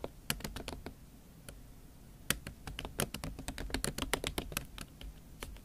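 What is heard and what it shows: Fingertips and nails type on a MacBook Pro keyboard covered with a pink silicone skin. Short, bright clicking taps come in irregular bursts, with a quieter lull in the first couple of seconds before the typing picks up. Each tap dies away almost instantly over a low, steady background rumble.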